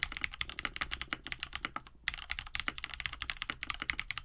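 A compact 65% KBD67 Lite mechanical keyboard with a plastic case, FR4 plate, lubed Hippo linear switches and blue and white PBT keycaps sits on a desk mat while both hands type steadily with the fingertips. Quick, bright clacks with very short decay run continuously, centered around 2 kHz, with little low end. There is a brief pause just before the two-second mark.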